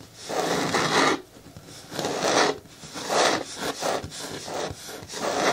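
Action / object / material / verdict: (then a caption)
scrape / hard plastic bin with lid / plastic / none. Long natural nails on both hands scratch and rub the front side of a medium, hollow, hard green plastic bin with a lid that looks empty. The result is a series of dry, rasping strokes that swell and fade, with a bright, scratchy hiss and a papery midrange and little low end.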